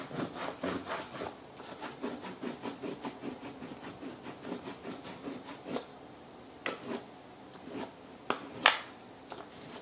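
A purple wax crayon is rubbed sideways in repeated strokes over a paper sheet held in a small purple-and-teal plastic Fashion Plates frame over a textured plastic relief plate, which lies flat on a towel and is held down by one hand. Quick, dry, scratchy rasping strokes come in a steady rhythm, then thin out into a few sharper scrapes and taps toward the end.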